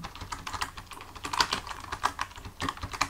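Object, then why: Plastic computer keyboard. Fingertips of both hands type on a full-size black plastic computer keyboard resting on a desk, the hands staying on the keys throughout. A steady, uneven run of quick, dry plastic key clicks is heard, centered around 1 kHz with bright tick edges and very short decay.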